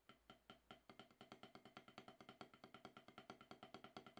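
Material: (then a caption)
Gum rubber. Two wooden drumsticks with wooden tips play rapid rudiment strokes on an octagonal HQ snare practice pad, about 12 inches across, with a gray gum-rubber playing surface on a solid black base, resting on a towel. About 35 short, dry taps come at a quick, fairly steady pace. Each tap has a woody knock with a bright click and almost no ring.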